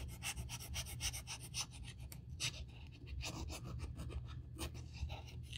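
A small black grained-leather Saint Laurent handbag, hollow and empty and held open in the hands, has its edge rubbed with a small piece of sandpaper held in the fingertips during a repair. Short, bright rasping and scratching strokes repeat quickly along the edge over a steady low hum.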